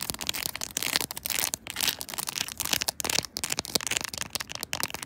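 Long nails tap and scratch across pink plastic sewing buttons glued to a clear plastic phone case, which is fitted on a smartphone on a tripod and feels solid and flat. The result is a dense run of crisp, bright clicks and scratchy rustling, with very little low end. Each tick dies away almost instantly.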